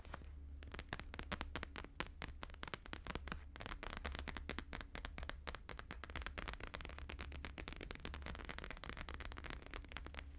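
Fingertips and nails rapidly tap and scratch a thin, flat laminated holographic paper sheet, producing a dense stream of crisp, crackly clicks and scraping sounds. A steady low hum runs underneath the whole time.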